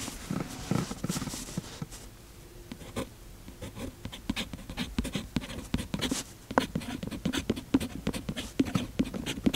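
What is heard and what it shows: A fountain pen's metal nib scratches across the page of an open paper notebook with a cloth cover while the other hand holds the page flat. Soft, dry scratching strokes come in quick, uneven bursts with sharp little ticks as the nib lands and lifts, growing busier and louder in the second half.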